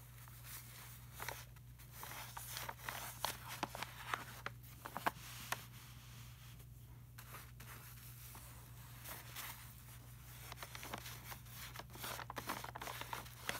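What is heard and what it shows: Fingertips trace and rub over a bodybuilder photo page in an open glossy paper magazine lying flat. Soft, papery rubbing and swishing is broken by short, bright ticks and scratches, especially in the first half and near the end. A steady low hum runs underneath throughout.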